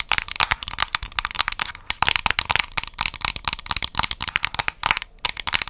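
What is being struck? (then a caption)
Small round plastic cosmetic jar. Long nails rapidly tap and scratch the top and edge of the lid on a small round plastic cosmetic jar, which has a white and brown lid and an orange base and is held in both hands. The result is a dense run of sharp, bright clicks with a light scratchy texture, each tap dying away almost instantly.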